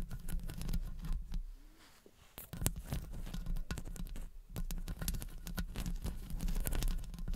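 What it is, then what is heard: Metal microphone grille. Long blue acrylic nails tap and scratch the hollow metal mesh grille of a silver condenser microphone from both sides. Rapid, dense tapping and scratching comes through as deep, boomy thumps with faint crackle on top. It eases into a brief quieter lull before resuming just as busily.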